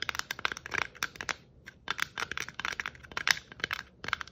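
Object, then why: Plastic Christmas bauble. Long nails scratch and tap a hollow red and white glitter-striped plastic Christmas ornament ball held close. Quick, dry, bright clicks and scratchy rustles come in irregular bursts, with a brief pause partway through. Each tap dies away almost instantly, with very little low end.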